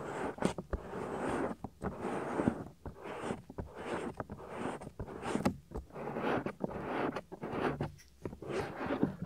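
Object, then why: Silicone ear of a binaural microphone. Fingertips and nails rub and scratch across the soft, solid silicone ear of a 3Dio binaural microphone. The result is a close, muffled run of scraping and rustling bursts, broken by sharp clicks and brief quiet gaps.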